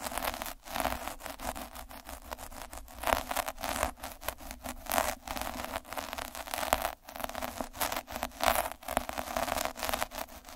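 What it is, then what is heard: Felt cloth scratched by a needle roller. A black plastic derma roller with a purple drum of fine metal needles is held by the fingertips and rolled back and forth over a flat red felt or flocked cloth. The needles make a continuous dense scratching and crackling, rising and falling with each stroke, with brief gaps where the roller changes direction.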